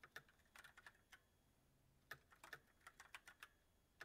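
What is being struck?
Mechanical keyboard with plastic keycaps.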